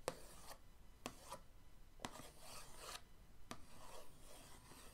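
The end of an orange paintbrush is dragged across the lid of a flat, printed cardboard paint-set box. Four sharp ticks each start a dry, raspy scratch that rubs across the lid. The strokes are quiet, bright and papery, with no ring after each one.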